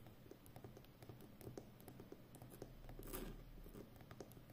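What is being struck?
Plastic packing tape roll on a cardboard core.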